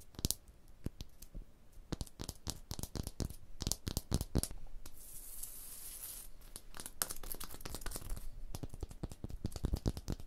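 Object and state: Limestone block wall.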